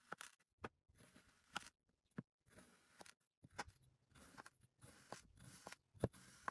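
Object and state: Kinetic sand blocks being sliced.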